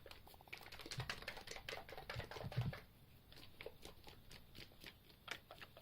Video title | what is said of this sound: Skincare DIY's + Bonus Beauty DIY/Tip | you can hear it sort of thickening up